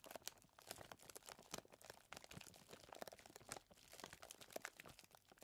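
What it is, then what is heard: Plastic zip bag of chocolate chips. A hand presses and squeezes a clear plastic zip bag full of small chocolate chips, then holds it up. Quiet, bright crinkling and crunching comes in a rapid, irregular series of short, sharp bursts, with the plastic rustling and the chips shifting inside, and no ringing after each one.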